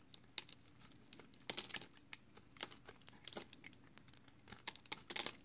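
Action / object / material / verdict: scrape / bar of soap scraped by a knife blade / soap / none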